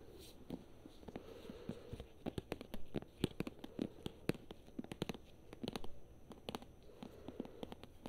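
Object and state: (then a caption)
Paperback book. A thick paperback book with a glossy paper cover has its cover and spine tapped and scratched with long nails. Quick, dry clicks and taps come in irregular bursts over a soft, low scratching rustle, each tap dying away almost instantly.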